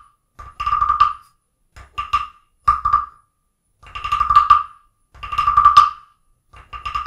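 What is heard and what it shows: A wooden stick is tapped and scraped along the ridged back of a small, solid carved wooden frog guiro resting on an open book. Six short bursts of rapid, ratcheting clicks are heard, each carrying a hollow, croak-like tone centered around 1.2 kHz. The bursts are separated by brief silences, and the longer scrapes build into rattling runs.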